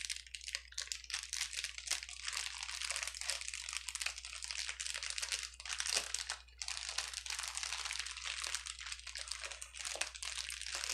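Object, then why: Plastic bubble wrap sheet. A clear plastic bubble wrap sheet lies flat on a table and is pressed and rubbed with the fingertips of both hands. Dense, bright crinkling fills the clip with quick, sharp pops and crackles and almost no low end. The sound briefly eases around the middle before the steady crinkling resumes.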